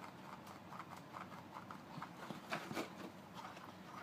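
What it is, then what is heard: Cardboard toothpaste box. Fingertips and nails tap and rub a closed, hollow Colgate toothpaste box of thin paperboard and handle the sticker on its corner. The result is a quiet run of soft, hollow, papery taps with light scratchy rubbing, each tap dying away quickly, over a faint steady hiss. Two slightly louder knocks stand out near the end.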